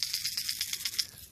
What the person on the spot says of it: it's got rattles inside you hold the hook so you could hear the rattles inside